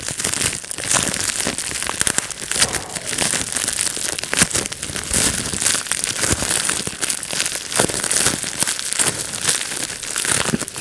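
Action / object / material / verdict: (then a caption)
scrape / plastic bubble wrap sheet / plastic / none. Fingertips pinch and pop the bubbles of a clear plastic bubble wrap sheet and crumple it, giving a steady, dense stream of sharp pops and crinkling. The crackles are bright and quick, with almost no low end.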